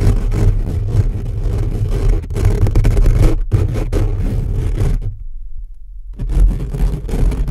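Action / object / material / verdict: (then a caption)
scrape / metal mesh microphone grille / metal mesh / none. Short fingernails of both hands scratch fast and aggressively across the metal-mesh grille of a condenser microphone. The result is a dense, rumbling scrape heavy in low boom, with a brief near-silent gap about two-thirds through before the scratching resumes.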